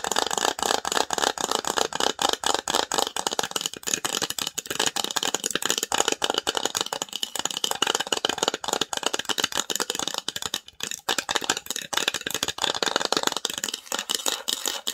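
Long nails rapidly scratch and tap the lid of a small hollow varnished wooden box with an engraved logo. The result is a dense, continuous stream of dry, bright clicks and scrapes with very short decay and almost no low end.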